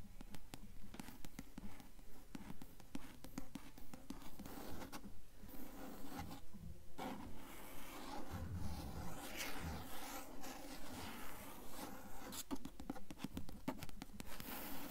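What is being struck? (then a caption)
Paper page edges of a hardcover book. Long nails scratch and tap along the stacked paper fore-edge of an open blue hardcover book lying on a table. About three dozen soft, dull scratches and taps repeat at a steady, even pace, with quick-fading papery rasps over a low, muffled body.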